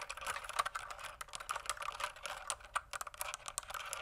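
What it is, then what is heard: Plastic mechanical keyboard being typed on. Fingertips type on a pink plastic mechanical keyboard tilted toward the camera, producing a rapid, uneven stream of short, dry clicks. The keystrokes sound bright and crisp, centered in the midrange with almost no low end, and each click dies away almost instantly.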